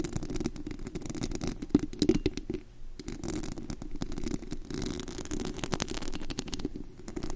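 Long acrylic nails and fingertips of both hands scratch the bare white perforated metal mesh grille of a large, hollow condenser microphone. The result is a dense, continuous stream of rapid scratches and scrapes with a heavy, rumbling low end and faint bright crackle on top.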